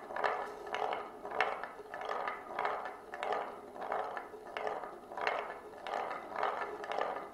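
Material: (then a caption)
Wood, glass. A single glass marble rolls in circles along the rim groove of a shallow, solid oval wooden plate that is tilted by hand. It makes a steady midrange rumble that swells and fades in a regular cycle, with faint ticks and clicks mixed in.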